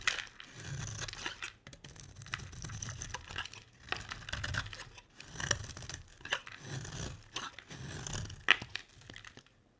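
A solid, dry oval cream bar of soap held in the hand is scraped and carved with a metal utility blade, with flakes falling away. Each stroke makes a crisp, bright, crunchy tearing scrape with a soft low rumble underneath. Short pauses separate the strokes, and sharp clicks stand out now and then.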